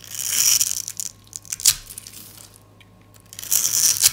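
A metal utility blade scrapes and crushes small cubes off a solid, yellow dry soap bar scored into cubes, then slices a thin sheet. Bright, dry crunching and crackling scrapes come in bursts, with one sharp crack partway through, a quiet, soft-scraping stretch, and a final crunchy burst.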